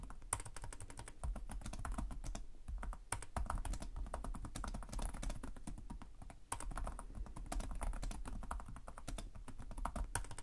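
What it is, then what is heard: Plastic laptop keyboard. Both hands type rapidly with short-nailed fingertips on the plastic chiclet keys of a black laptop resting on a desk. A dense, continuous stream of short, dry key taps and clicks plays over a steady low hum, with a few brief pauses between bursts.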